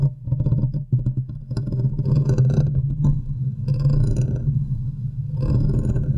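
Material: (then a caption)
Metal mesh. Long nails scratch the sides and top of the hollow, domed metal wire-mesh grille on a large silver USB condenser microphone. The sound is a dense, low rumbling scrape with a steady hum-like drone, broken by bursts of bright crackling rasps that swell and fade.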